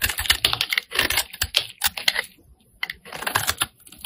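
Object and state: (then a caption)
Bar of soap being scraped. A flat metal blade scrapes across the face of a solid pink rectangular bar of soap held in the hand. It makes quick bursts of crisp, dry, bright scratching and clicking with almost no low end, then a brief pause before the scraping resumes.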